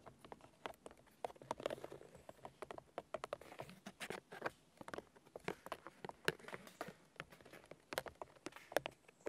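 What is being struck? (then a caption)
Birch log with papery bark. Fingertips with short red-painted nails tap and drum quickly on the papery white bark of a large, solid fallen birch trunk outdoors. About forty quick, soft, dry taps come in an irregular patter, each a short woody tick with almost no ring.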